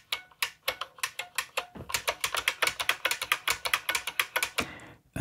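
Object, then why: Plastic mechanical keyboard with buckling-spring keys. Both hands type with fingertips on a full-size beige IBM Model M keyboard, its plastic keycaps pressing down on a buckling-spring mechanism inside a hollow plastic case. About 28 rapid, sharp, bright clacks come in an uneven rhythm, each ending quickly, before a brief pause and a fuller final keystroke.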